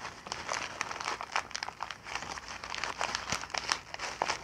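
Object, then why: Sheet of kraft packing paper. A sheet of brown kraft packing paper is picked up and crumpled into a ball with both hands and fingertips. Dense, bright crinkling and crackling comes in quick overlapping bursts, with almost no low end. The brittle rustle continues without pause as the paper is squeezed tighter.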